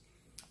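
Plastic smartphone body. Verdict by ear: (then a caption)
Hollow. A single light tap on the plastic body of a new Samsung Galaxy J3 Achieve smartphone, whose screen is also plastic, with the battery not yet installed. It makes a brief, bright, high-pitched click that fades almost at once over faint background hiss. The tap sounds hollow.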